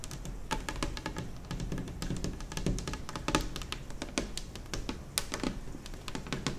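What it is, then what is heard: Laminate kitchen table. Long nails and fingertips tap and scratch across a large, solid, white glossy laminate kitchen table top. Rapid, crisp clicks and short bright scratches come over a low, dull thump from the surface. Each tap dies away almost at once.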